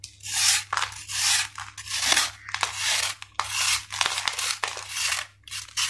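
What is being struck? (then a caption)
Dried sand-cement ball scraped with a steel knife. A steel knife blade is scraped repeatedly across the flattened face of a solid, dried sand-cement ball held in the palm, shaving off gritty powder. Each stroke gives a bright, raspy scraping hiss, with short pauses between strokes.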